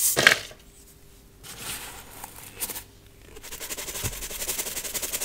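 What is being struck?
Metal mesh sieve with baking soda.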